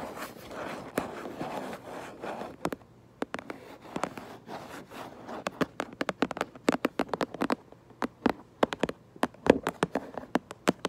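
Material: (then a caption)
Cardboard. Long nails scratch and tap on the back of a cardboard Lego box. The first few seconds are a rough, continuous scratching, with a few taps. After that, many short, dry taps follow in uneven bursts over a faint low hum.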